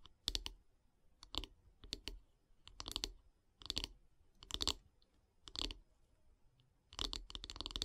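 Long nails tap and scratch along the solid light-wood handle of a wooden bath brush. The result is quiet, bright clicking and scratching in short clustered bursts with brief pauses between them, each sound dying away almost instantly.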